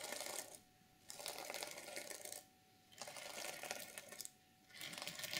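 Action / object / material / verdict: scrape / sequin fabric journal cover / sequins / none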